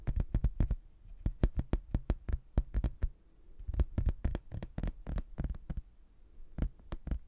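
A rigid, flat laminated hardboard placemat with a blue textured border and an abbey photo, held in both hands, is tapped with fingertips and nails on its solid thin board. Quick, dry taps come in uneven bursts with short pauses, each a dull low knock with a faint bright click that stops almost at once.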